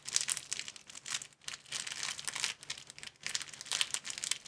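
Fingertips squeeze and crinkle thin clear plastic film folded into a small square packet. Dense, bright crackling bursts come in waves with short quiet gaps, nearly all of the energy high and crisp, with no low thump.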